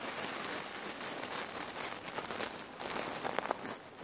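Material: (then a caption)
Cherry pits. Long nails and fingertips squeeze and scratch a long, red patterned cotton neck warmer filled with cherry pits, soft and full, resting on a wooden table. The pits shift in a steady, dense, rain-like crackle and rustle, bright and grainy with almost no low end. A few sharper clicks stand out near the end.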